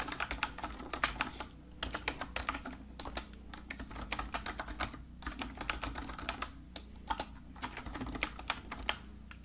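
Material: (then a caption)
Plastic. Typing on a full-size black plastic computer keyboard lying flat on a desk, with fingertips pressing the keys of its hollow casing. Quick, bright clicking taps come in uneven bursts over a steady low hum.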